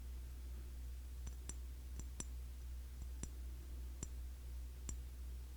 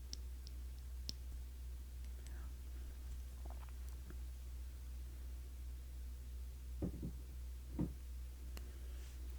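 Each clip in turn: First: glass cologne bottle. Second: plastic bottle cap.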